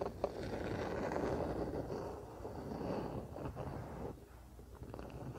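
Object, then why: Wooden paddle hairbrush. Fingertips and nails scratch and rub the solid wooden back and handle of a wooden paddle hairbrush lying on a blanket. The result is a soft, continuous, muffled scratching and rubbing texture, mostly low and mid with little brightness. It eases briefly quieter near the end before the rubbing resumes.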